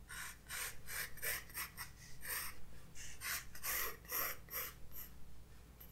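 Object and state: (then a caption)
Pencil sketching on a paper page. A graphite pencil tip is drawn in light sketching strokes across a white page of a spiral-bound sketchbook lying flat on a wooden desk, while the other hand holds the book. About eleven short, breathy scratching and rubbing strokes come in quick bursts, each a bright, hissy rasp over a low steady background hum.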